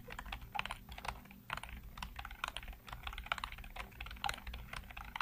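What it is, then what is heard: Plastic computer keyboard being typed on. Rapid fingertip typing on a full-size black plastic keyboard with hollow keycaps produces a fast stream of short, crisp clicks and clacks. The bright, hollow key taps die away almost instantly, over a faint low hum.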